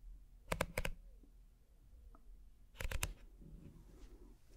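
A small, hollow, empty woven wicker basket, held upside down in both hands, is scratched slowly with the fingertips and nails. Two short bursts of crisp, dry clicking scratches ring out across a wide range from low to bright. They are separated by a quiet stretch of faint rustling over a low background hum.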